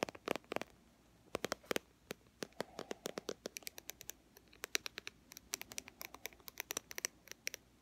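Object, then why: Plastic cosmetic squeeze tube. Long fingernails tap and scratch near the cap end of a white plastic BB cream squeeze tube with a dark cap. Dozens of quick, bright, clicky taps come in uneven bursts, with soft scratchy rustles between them. Each tap dies away instantly, with almost no low end.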